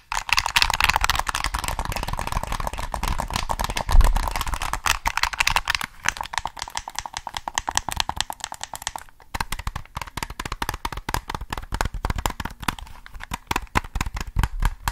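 A hollow black plastic PS3 controller is turned in the hands while fingertips tap rapidly on its body. The result is a dense stream of light, dry plastic clicks with almost no ring, with a brief louder knock near the 4-second mark. The tapping thins out briefly just after 9 seconds, then continues.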